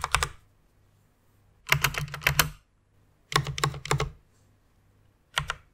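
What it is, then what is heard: Plastic mechanical keyboard typing. Fingers with long nails type on a full-size white mechanical keyboard with plastic keycaps resting on a pink fur pad. Four short bursts of rapid, bright plastic clicks with a soft low thock under each stroke are separated by quiet pauses. A faint low hum sits under the gaps.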